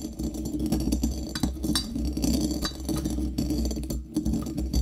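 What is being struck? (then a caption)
Brass mortar and pestle with coffee beans. A small hollow brass mortar held in the hand, filled with coffee beans, is struck and ground with a pestle against its metal interior. The result is a steady run of clinking, rattling knocks, some ringing briefly, over a low constant hum. Bright metallic chinks stand out between the grinding scrapes.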